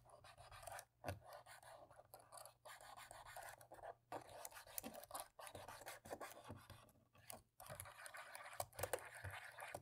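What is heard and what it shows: A cotton swab scrubs the gaps between the black plastic keys on the right side of a dirty laptop keyboard. The sound is a quiet, dry, scratchy rasp in irregular bursts with short pauses between strokes.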